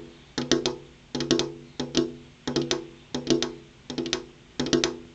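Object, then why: Glass window pane. Long purple-painted fingernails tap rhythmically on a large, solid, flat glass window pane, in seven quick clusters of two or three sharp clicks. Each tap is bright and dry, with a short hollow resonance around 340 Hz that fades in under a tenth of a second.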